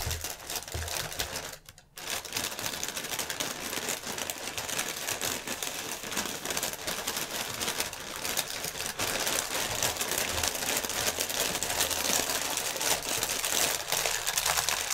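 A clear, inflated plastic air-pillow packaging strip is tapped rapidly with fingertips and nails, crinkling its film. The result is a dense, bright stream of crackling taps and crinkles that stops briefly near the 2-second mark, then continues steadily and grows slightly louder toward the end.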